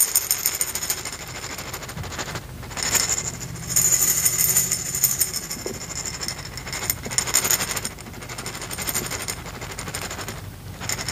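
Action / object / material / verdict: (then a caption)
shake / glass jar with small hard kernels / glass / none. A clear, hollow glass jar about a quarter full of small reddish pieces that look like corn kernels or beads is held in one hand and shaken. The contents rattle against the glass in a dense, bright, uneven clatter, with louder bursts between quieter stretches.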